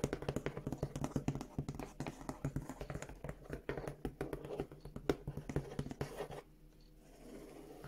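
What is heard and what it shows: A large, hollow brown corrugated cardboard shipping box printed with "Revolution" is tapped and scratched with long acrylic nails. The result is a rapid run of short, dull taps and scratchy rubs for about six seconds, then a quiet stretch to the end.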